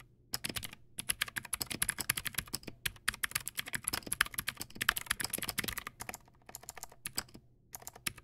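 Fingertips type on a Teamwolf Zhuque+ X08, a backlit plastic mechanical keyboard with white plastic keycaps and clicky blue switches. Rapid bright, crisp clicks arrive in quick bursts, with each keystroke cut off almost instantly. Brief pauses separate the bursts.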